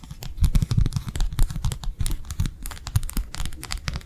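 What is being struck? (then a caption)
Thin flexible plastic sheet. A thin, flexible matte plastic sheet, held edge-on between the fingers, is tapped and flicked rapidly with long nails. The result is a fast, steady stream of dry, clicky taps with a soft low thump under each one and a bright crackly edge. Each tap dies away almost instantly.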